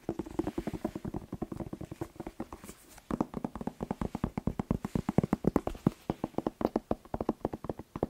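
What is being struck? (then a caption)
Whole bell pepper. A whole fresh red bell pepper, hollow with waxy skin, is tapped quickly with fingertips and nails. The result is a dense run of short, dry, hollow knocks centered in the low-mids around 180 Hz, each dying away almost instantly. A brief lull comes near the three-second mark before the tapping resumes louder.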